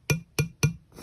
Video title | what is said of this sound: How Bad Is Temu Quality? Chinese Refrain From Buying, Call for Strict Punishment | listen to this crisp sound